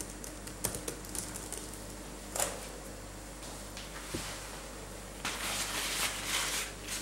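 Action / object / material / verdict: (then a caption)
tap / plastic laptop keyboard / plastic / none. Both gloved hands type with their fingertips on a black laptop keyboard with plastic keys, making irregular, bright clicking taps over a steady low hum. The last two seconds bring a denser burst of rapid, brushing clatter.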